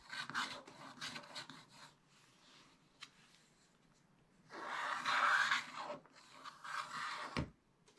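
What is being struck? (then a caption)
Black-coated scratch-art paper scraped with a wooden stylus. A wooden stylus scratches broad areas on the right side of a black-coated scratch-art page in a spiral-bound book, revealing the colour underneath. Dry, raspy scratching strokes come in bursts, fade into a quiet stretch, then return louder and more sustained. A brief low thump sounds near the end.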